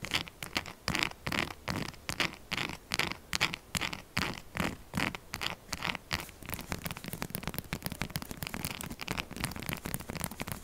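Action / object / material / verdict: scrape / textured soap bar / soap / none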